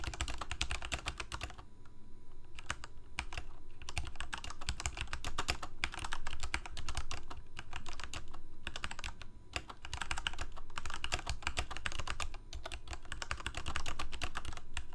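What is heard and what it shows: Fingertips of both hands rapidly type on a full-size Corsair K68 backlit plastic mechanical keyboard with Cherry MX Red switches. Fast, irregular bursts of sharp clacky key taps run throughout, with a low thump under each stroke and brief pauses between runs.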